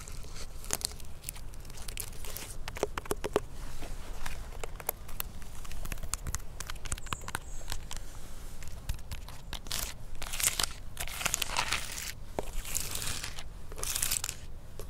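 Fingertips and nails trace and scratch along the thick, rough, flaky bark of a large, solid living pine tree trunk outdoors in a forest, recorded close by on a handheld microphone. Dense, dry crackling and rasping scrapes come in quick bursts with bright hiss, over a steady low rumble throughout.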